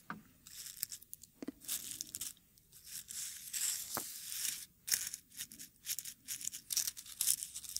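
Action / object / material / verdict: scrape / dried rose petals in a wooden mortar / dried petals / none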